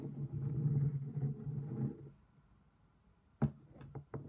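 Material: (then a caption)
Stone. A black stone pestle held in one hand grinds and knocks inside an empty, hollow, thick-walled black stone mortar while the other hand steadies the bowl. A low, rumbling grind runs for about two seconds, then a near-silent pause. Four sharp, short knocks with a low stony thud follow.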